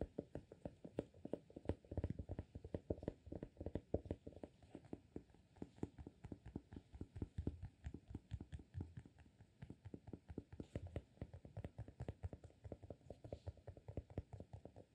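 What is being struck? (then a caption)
Glass candle jar filled with wax, with a cork lid. Fingertips tap quickly on the cork lid of a small amber glass candle jar full of wax. The result is a fast, steady stream of soft, dull, low thuds with very short decay and little brightness, at a quiet level throughout.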